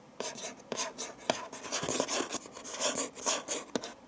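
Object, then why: Cardboard gift box lid. Fingertips and nails rub and scratch across the closed lid of a medium printed cardboard gift box with a Christmas pattern and a green ribbon bow, its contents not visible, resting on a dark table. Dry, bright scratching and rasping strokes come in uneven bursts, with a few sharp tapping clicks where the nails catch the lid. Each sound stops almost instantly, with no ring.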